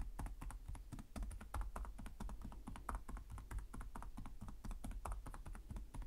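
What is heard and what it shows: Fingertips type rapidly on the plastic chiclet keys of a black laptop with a hollow chassis. The result is a steady, dense stream of short clicky taps with a hollow, low thump beneath each one, and each tap dies away quickly.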